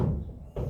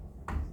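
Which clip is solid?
The second.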